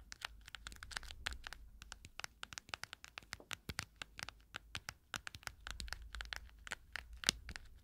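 Long acrylic nails rapidly tap and scratch the quilted, padded lid of a small, round, hollow cushion makeup compact that is closed and bears a metal CD logo. Dozens of sharp, dry clicks with a bright edge mix with scratchy rustling, and each tap dies away almost instantly over a faint low rumble.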